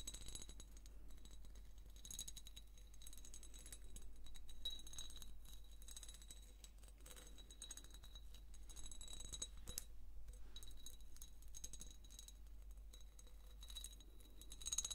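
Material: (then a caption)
Glass. Long nails scratch along the vertical ribs of a hand-sized, hollow, ribbed amber glass jar held up close. The result is a quiet, continuous, irregular scraping with bright, glassy ticks and clinks that die away quickly, over a faint steady low hum.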